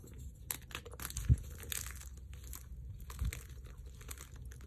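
Chalk-covered fingertips and palms crush and rub brittle, dry chunks of white magnesium carbonate gym chalk and powder in a dark bowl. A continuous soft, crumbly crunching and crinkling rumbles low, with brief bright crackles. Two sharper, louder crunches stand out as pieces break.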